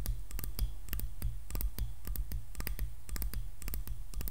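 Long nails tap quickly on the solid wooden handle and back of a hairbrush. The taps are short, dry, bright clicks that die away almost instantly, over a steady low hum.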